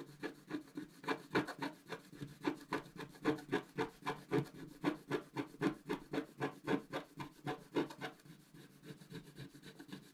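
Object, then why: Coated scratch-art card and wooden stick. A black-coated scratch-art card lying flat is scraped with the tip of a wooden stick, revealing the colored layer beneath. About 29 short, raspy scratching strokes follow each other at roughly four per second, each a dry, low-mid scrape with a faint bright edge. The strokes grow softer and quieter toward the end.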